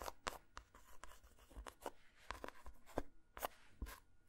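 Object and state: Dark chocolate bar.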